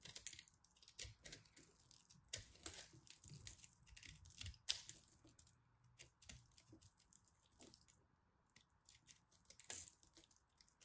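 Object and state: Pressed soap ball being cut and scraped.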